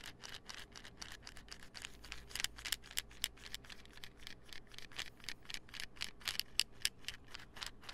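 Fingernails tap and scratch a small, hollow white plastic supplement pill bottle with a gold label and cap. The result is a rapid, uneven run of sharp, bright clicks mixed with scratchy rasping, each tap dying away almost instantly against a faint low hum.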